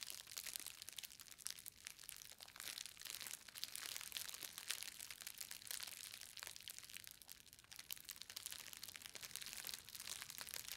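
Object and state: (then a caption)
Bubble-wrapped book parcel. A green plastic bubble-wrapped book parcel, solid inside, is gripped at both ends and squeezed with fingertips and long nails, crushing the bubbles. A dense, steady stream of bright crinkling, crackling and sharp little pops runs throughout, almost entirely high-pitched with no low end.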